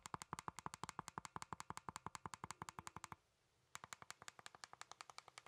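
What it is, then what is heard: Plastic game controller. A hollow plastic Nintendo Joy-Con controller, with the Joy-Cons attached to a grip and held in both hands, has its buttons pressed and its casing tapped with fingertips. About 50 sharp, dry plastic clicks and taps come in a quick, steady run, pause for about half a second, then resume at the same pace. Each tap is bright and dies away almost instantly.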